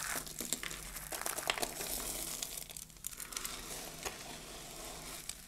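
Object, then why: Pile of soap shavings. Fingertips with long blue nails press and squeeze a loose heap of small, dry pink soap flakes on a dark table, crushing them. The result is a steady, bright crackling crunch, dotted with many short, crisp snaps that die away almost instantly.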